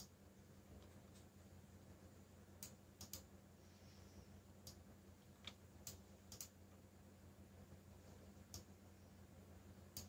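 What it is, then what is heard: Plastic mechanical keyboard. Fingertips tap the keys of a backlit black plastic mechanical keyboard while typing, producing ten sharp, bright clicks spaced irregularly across the clip. The quiet clicks sit over a steady low hum with faint tonal bands near 100 and 200 Hz.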